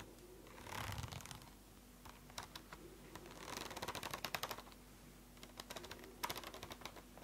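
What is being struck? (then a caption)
Spiral notebook with plastic cover. A closed purple spiral notebook with a plastic cover is tapped rapidly with long nails, giving quick, bright clicking taps in bursts. Between the bursts there is a softer brushing swell, and a faint steady hum runs underneath.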